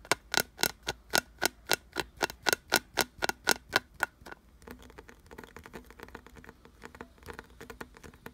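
Fingertips and nails tap and scratch a solid, glossy brown carved wooden piece with ridged grooves. For about four seconds, a steady run of quick, dry taps rings sharply around 1.4 kHz with bright clicks. It then gives way to softer, denser scratching and light tapping across the ridges.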